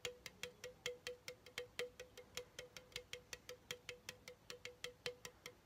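A hollow pink Chupa Chups aluminum soda can, held in one hand, is tapped with the fingertips of the other about thirty times in a steady rhythm. Each tap is a short, light metallic tick with a faint ring near 490 Hz and bright high overtones. The taps fade almost instantly.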